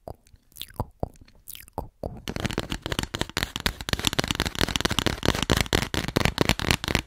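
Long nails tap and scratch an empty, hollow white cardboard tube. A few sparse taps and bright scrapes come first, then from about two seconds on the nails work the tube in a dense, rapid run of crunchy taps and scratches that continues to the end.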